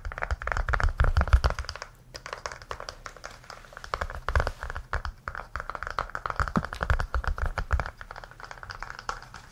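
A small red-orange, heart-shaped hollow case, apparently hard plastic, is held in the hands and tapped with fingertips and nails, and is turned edge-on near the end. The result is a rapid, irregular stream of short, dry clicks and taps with a low thump underneath, a brief pause around two seconds, and bursts that rise and fall.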